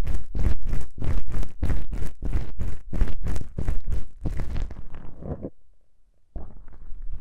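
Two small black foam windscreens on a stereo microphone's capsules, soft and porous, are held and scratched by both hands with fingertips and long pink acrylic nails. A steady, rhythmic series of loud, deep, rumbling scratch strokes builds into dense bright crackle, then slows and fades to near silence. A quieter, softer rustle resumes at the end.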